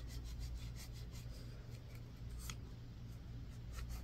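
A solid white bar of soap, already partly carved, is scraped with a yellow rake-like tool on a wooden handle. Quiet, steady rasping strokes carry a soft, bright scratchy texture over a low hum.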